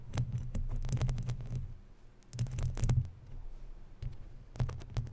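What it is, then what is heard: Metal mesh microphone grille being scratched. Long natural nails scratch along the lower edge of a hollow, round, woven metal mesh microphone grille. The result is a low, rumbling, scratchy texture with quick clicky ticks, coming in three busy bursts separated by quieter stretches.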